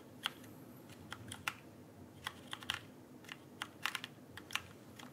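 Fingertips tap the plastic keycaps of a backlit mechanical keyboard held upright, producing about seventeen sharp, bright clicks in an irregular typing rhythm. Each click dies away almost instantly over a quiet, steady low background hiss.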